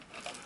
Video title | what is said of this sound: Gteng T907W FPV Hex | You can hear something rattling inside of it there.